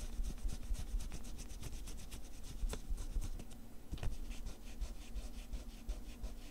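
A pencil tip scribbles and scratches across a small lined paper sheet torn from a spiral notepad, which lies flat on green cloth and is held down by one hand. Quick dry scratching strokes repeat in an uneven rhythm over a steady low rumble, with a few sharper, brighter strokes standing out along the way.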